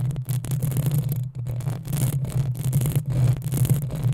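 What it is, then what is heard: Metal microphone grille being scratched. Long painted acrylic nails on both hands scratch and rub the hollow, rounded metal mesh grille of a black USB condenser microphone on a stand. The result is a dense, steady scratching rush over a strong low hum near 150 Hz, with bright crackly bursts and brief dips where the rubbing pauses.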